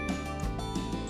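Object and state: Nothing is struck.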